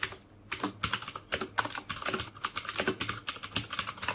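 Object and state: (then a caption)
Plastic mechanical keyboard being typed on. Fingertips type continuously on the plastic keycaps of a black plastic mechanical keyboard with Cherry MX Blue switches. The result is a steady stream of sharp, bright clicks with a short pause near the start.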